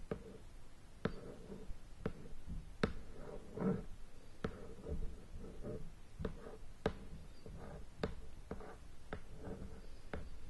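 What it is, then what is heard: Shrink-wrapped cardboard game box. Fingertips and long nails tap and scratch on the lid of a sealed, plastic-wrapped cardboard board game box lying flat. Eleven sharp, dry taps are spaced out over soft, low scratching and faint crinkling of the wrap, with no ring after each tap.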